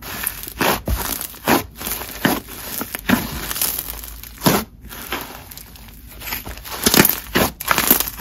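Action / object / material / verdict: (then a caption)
scrape / crunchy textured slime / slime / none. Fingertips squeeze, fold and pull a single solid mass of yellow, textured, crunchy honeycomb slime on a marble surface. Dense bursts of crinkling and crackling come in quick, overlapping waves with bright, broadband pops. Brief quieter gaps fall between the squeezes.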